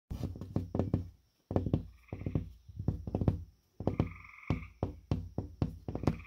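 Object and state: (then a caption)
Gypsum drywall panel. Fingertips and knuckles of a bent hand tap and knock repeatedly on the surface of a flat, solid gypsum drywall (sheetrock) panel with a purple paper face. The result is quick runs of dull, low, woody thuds that die away almost instantly, separated by brief silent pauses, with a faint midrange tone lingering under some of the taps.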